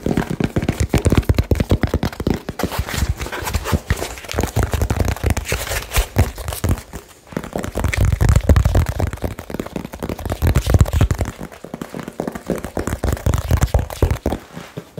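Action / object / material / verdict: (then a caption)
tap / small cardboard box / cardboard / none. Fingertips tap very fast and hard on a small hollow cardboard box with a label and blue tape on it. The dense, rapid taps make deep, dull thumps with a faint papery crinkle, each dying away almost at once, and the barrage swells and eases over the clip.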